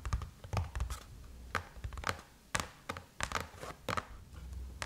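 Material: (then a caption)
Aluminum. Long chrome-painted nails tap and scratch across the closed silver aluminum lid of a MacBook, with the hands crossed. Sharp, short clicks ring with a light metallic tone around 1.2 kHz, separated by soft scraping and a low background rumble.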